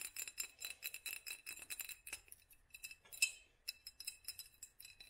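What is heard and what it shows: Long nails on both hands tap and scratch a small hollow glass mason jar fitted with a black studded sleeve. The result is a quiet, rapid run of bright, crisp clicks and scrapes with a faint glassy ring near 2.6 kHz that dies away almost instantly, with one sharper tap standing out near the three-second mark.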